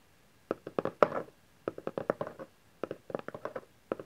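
Fingertips and nails tap the top face of a small, empty-looking cardboard camcorder box lying flat on satin fabric, while hands also grip its sides. About sixteen short, dry, hollow taps come in three quick clusters, with a mid-pitched papery knock around 590 Hz that dies away almost instantly.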